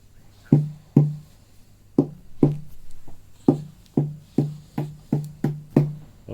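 The sassafras top of an OM acoustic guitar, now glued to the sides, is tapped in a series of short, dull knocks with a low pitch around 150 Hz and a very quick decay. It sounds like a tight drum, showing a stiff, tight top and promising tone wood.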